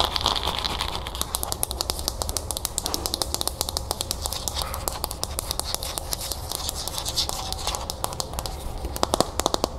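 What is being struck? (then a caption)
Plastic bowl with a few cereal puffs inside. Long nails tap and scratch the outside of a hollow teal plastic bowl held in the hands, with a few cereal puffs inside. Dense, rapid clicks and scrapes sound bright and crisp over a low, steady hum. A cluster of louder taps comes near the end.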